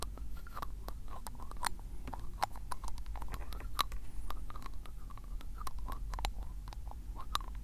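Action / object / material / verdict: scrape / glass ink bottle with ribbed plastic cap / plastic, glass / none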